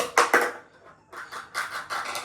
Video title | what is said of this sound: Mummy Ne Bahut Din Baad Banaya😍 Besan Ka Chilla 😋 | ये कटोरी गिरी ऐसे ही। और आवाज इतनी आई।